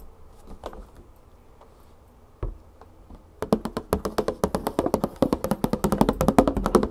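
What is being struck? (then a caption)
Plastic jug full of oil. Long painted fingernails and fingertips tap on the paper label and side of a large 3 L clear plastic jug full of olive oil. A few soft, scattered taps come first, then quick, steady tapping takes over, louder and denser. Each tap is short and dull, with a low, hollow body and almost no ring.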